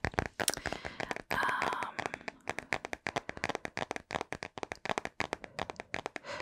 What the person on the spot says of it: I love vinyl or plastic tapping like this. I love the sound of tapping on vinyl. It's such a nice tap to it.